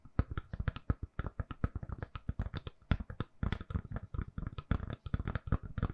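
Long nails tap rapidly on a hand-sized, solid, lilac silicone-covered phone case fitted on a phone and held in both hands. The result is a quick, uneven run of dozens of soft, dull, low thuds with faint clicky edges, each dying away almost instantly.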